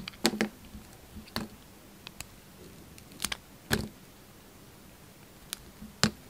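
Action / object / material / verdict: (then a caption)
scrape / bar of soap cut with a knife blade / soap / none. A solid Duru bar soap with its green interior exposed is held in the hand and carved with a utility knife blade, with shavings falling off. Short, crisp cutting snaps and scrapes come in irregular bursts, each a bright broadband click that stops almost at once, over a faint low hum.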